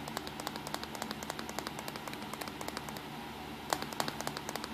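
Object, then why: Plastic compact digital camera. Fingertips and short nails tap on the back LCD screen, buttons and casing of a small black plastic compact digital camera with a hollow body. The result is a quick, uneven series of light, dry clicks with bright edges and almost no ring, over a faint steady hiss. Two slightly sharper taps stand out near the end.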